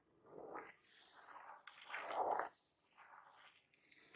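Fingertips and medium-length painted nails tap and scratch across a small, hollow, glossy black printed cardboard box for a laptop battery lying on a table, and the box is turned over by the end. Soft, papery scratching and hollow midrange taps come in uneven bursts with a bright hiss above them, loudest around the middle of the clip. Each sound dies away almost at once.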